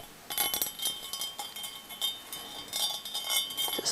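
A cut-crystal basket bowl is tapped repeatedly, producing bright, high-pitched clinks and short rings concentrated in the upper frequencies, with a series of distinct taps over about four seconds. The crystal rings clearly, as a crystal bowl normally does.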